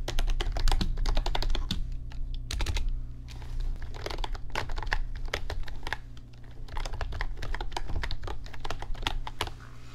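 Fingertips type on an RGB backlit computer keyboard with plastic keys, producing bursts of quick, irregular clicky taps with brief pauses between runs. A steady low hum sits underneath the bright key clicks throughout.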